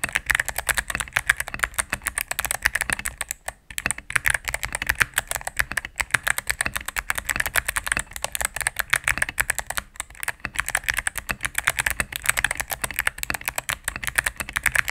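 A mechanical keyboard with all-cream plastic keycaps and a knob, resting on a desk mat, is typed on rapidly with fingertips and long nails. It gives a dense, steady stream of short, crisp clacks with a bright click centered around 1.7 kHz and very little low end. Brief pauses fall near 3.5 and 10 seconds.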